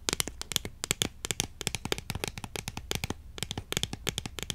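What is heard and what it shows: A long, thin, hexagonal cardboard tube of incense sticks, hollow with the sticks inside, is held diagonally and tapped quickly with long acrylic nails. It produces a rapid, uneven run of short, dry, clicky taps with almost no ring, bright and crisp with a tone near 3.4 kHz over a faint low rumble.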